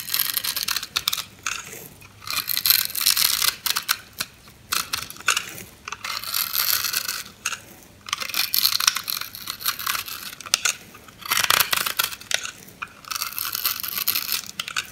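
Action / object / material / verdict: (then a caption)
scrape / bar soap cubes / soap / none. A knife blade crunches cubes off a solid orange bar of soap scored into a grid, held in a hand with long red nails. Bursts of dry, bright crackling and crunching come in repeated cutting strokes with short pauses between them, with almost no low end.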